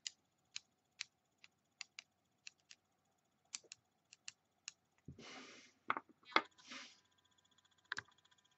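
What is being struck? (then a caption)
Small plastic die. A small solid white plastic die with red and blue pips is held up and tapped with long metallic-painted nails while other dice rest untouched on the table. A string of sharp, dry, bright clicks comes at an uneven pace, then breaks into short hissing scratches of nail on plastic before a few more taps. The sound is quiet and close, and each click dies away almost instantly.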